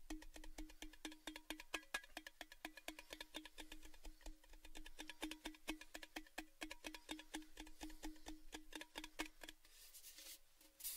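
Fingertips tap quickly on a tall, red, cylindrical metal Baileys gift tin, hollow and open-ended and held upright. The result is a rapid, fairly uneven stream of short, dry ticks with a faint hollow tone around 300 Hz and bright clicky edges near 2.5 kHz. The tapping thins out near the end into a softer, brighter rustle.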